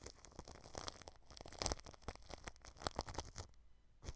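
A paintbrush brushes across clear cling film wrapped over the mesh grille of a white microphone. It makes quiet, dry crinkling and scratchy swishes in quick, uneven strokes, with bright crackles over a low rumble. The sound dips near silence briefly before one last stroke.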